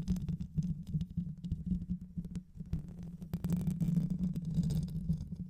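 Both hands scratch the hollow metal mesh grille of a black microphone with long white nails, using fast fingertip and nail strokes. The result is a dense, low rumbling scrape with a steady hum near 164 Hz, thinning slightly in the middle before growing fuller again.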